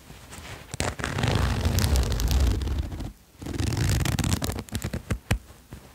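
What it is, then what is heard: Sherpa fleece jacket zipper. A red and white patterned sherpa fleece jacket lies flat while fingertips hold the fabric and the zipper pull is drawn along the zipper, scraping it against the fleece. Two long, soft, low-heavy rasping runs are heard with a brief pause between them, followed by a scatter of sharp little zipper clicks and taps.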